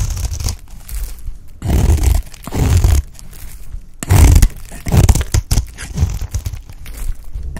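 A pale green solid bar of dry soap, held in the hand, is shaved with a utility knife blade into thin curls. Each stroke gives a dry, crunchy scrape with crinkling texture and a low, thumpy body. Louder bursts alternate with quieter scratching between cuts.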